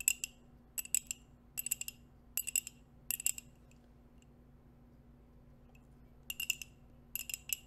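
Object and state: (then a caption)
Ceramic coffee mug. A hollow white ceramic coffee mug with a dark rim, held in both hands near the mic, is tapped and scratched with long acrylic nails wearing metal nail rings. Quick bursts of bright, clicky taps come in clusters with almost no ring, over a faint, steady low hum. There is a quiet gap in the middle before the tapping resumes.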